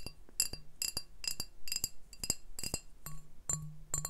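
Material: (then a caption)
Glass. Fingertips tap a medium brown glass beer bottle with a printed sleeve label, hollow and looking empty, first on its body and then on its glass base. The result is a quick, uneven series of bright glassy clinks that ring only briefly, with a faint low tone underneath in places.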